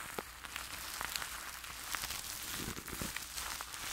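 A fluffy makeup brush sweeps and rubs over clear plastic cling film wrapped tightly around a large metal-mesh microphone held in one hand. The result is a steady, bright crinkly rustle with scattered sharp crackles and a soft low rumble underneath.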